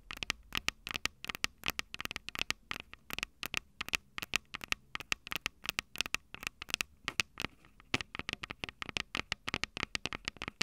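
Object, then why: Handheld recorder with metal mic capsules. Long purple nails tap and scratch the metal mic capsule heads of a small Tascam DR-05 handheld recorder with a plastic body and two metal capsules. It makes a rapid, irregular run of crisp, bright clicks and scratchy ticks that die away almost instantly, with little low end and a faint hiss between the hits.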